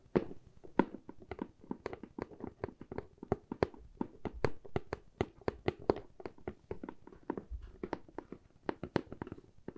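A medium hollow corrugated cardboard box with a handle slot is tapped on its sides with long fingernails and fingertips. Quick, dry, quiet taps come in an irregular, steady stream, each with a hollow low-mid body that dies away almost at once. Occasional sharper clicks reach into the highs.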